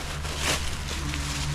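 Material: Nothing is struck.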